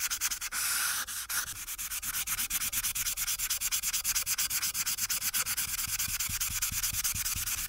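A felt marker tip is rubbed back and forth across a thin paper coloring sheet on a clipboard, near the sheet's top edge. The result is a steady run of quick, bright, scratchy strokes that are mostly high-pitched and have almost no low end.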